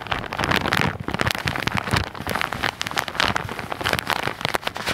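A hand-sized white and orange soft plastic package, looking filled, possibly with cotton pads, is held in both hands close to the microphone while fingertips and nails tap and scratch its crinkly surface. The result is a dense, continuous run of bright crackling and rustling with quick, sharp snaps and little low end.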